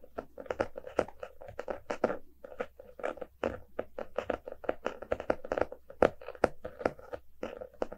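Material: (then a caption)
Cardboard. A small, solid closed hardcover book, "A Little Bit of Dreams," with a glossy printed cardboard cover is held in both hands and tapped and scratched with fingertips and nails. The result is a quick, uneven stream of short, dry, crunchy taps and scratches with a hollow midrange tone and almost no ring.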